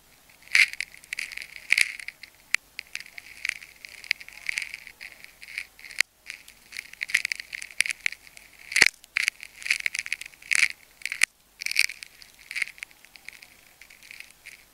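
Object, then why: Wound plastic tape ball. A metal craft knife blade cuts and scrapes through a palm-sized, solid pink clear plastic tape ball wound in layers and partly split open along the cut, while fingers hold it. Dry, crisp crackling and crunching come in uneven bursts with brief pauses, concentrated in a bright high range with almost no low end. Each snap dies away instantly.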